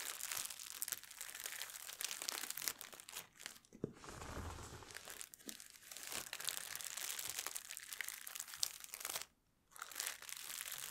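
Both hands with long nails crumple and crinkle an empty, thin clear plastic packaging bag on a table, beside a headphone box that is not touched. The sound is a dense, bright, crackling rustle with quick sharp crinkles. It is broken by a softer, muffled stretch near four seconds and a brief near-silent pause just after nine seconds.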